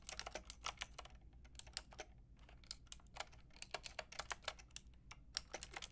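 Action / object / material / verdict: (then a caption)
tap / plastic mechanical keyboard with round keycaps / plastic / none. Fingertips and long nails type on a full pink, grey and white mechanical keyboard with round plastic keycaps. The result is a rapid, uneven stream of short, bright plastic clicks that stop dead, with a few brief pauses, over a faint steady low hum.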